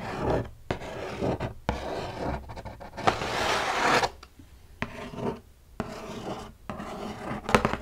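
Fingertips and long pink nails tap and scratch the flat lid of a hollow, medium brown cardboard UGG shoe box lying on a bed quilt, with a second box piece beside it. Dry, raspy scratching and rubbing is broken up by short, sharp taps that die away almost at once. A louder stretch of bright scratching comes in the middle of the clip.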